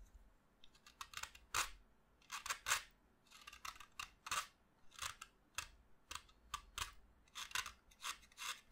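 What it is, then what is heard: Chalk stick shaved with a knife. A solid pastel green chalk stick, held over a heap of chalk dust, is shaved along its length with a yellow-handled utility knife. Quiet, dry scraping strokes come in quick, uneven bursts, each bright and gritty with almost no low end and a fast decay. The knife rasps off the chalk surface in a steady run of short scrapes.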